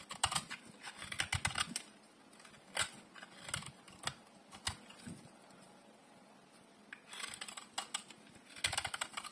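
A hand-sized bar of dry yellow soap, held in one hand, is shaved and carved with a metal utility blade. Short, crisp, bright scraping strokes come in quick clusters, pause through a quieter stretch, then return in further bursts. Each stroke is dry with almost no ring.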